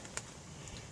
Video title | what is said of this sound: Fixing a transfer case leak on 12v Cummins | you'll notice the difference and sound as soon as you bottomed out it sounds solid